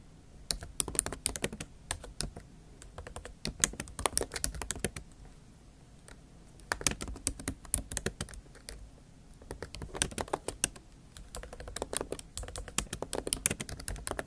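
Fast typing with long acrylic nail tips on a MacBook Pro keyboard, plastic keys in an aluminium body. Bursts of sharp, bright clicks come in quick runs, broken by short pauses near 5.5 and 9 seconds, over a soft low thud from each keystroke.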